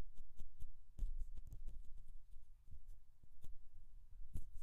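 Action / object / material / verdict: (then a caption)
scrape / metal mesh microphone grille / metal mesh / none. Long fingernails of both hands scratch close up on the hollow mesh metal grille of a Rode NT1-A condenser microphone. The result is a quick run of soft, dull, low thumping scrapes with faint bright ticks, each dying away almost at once.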